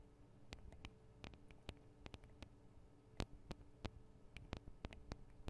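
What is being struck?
Small metal microphone capsules on a handheld recorder.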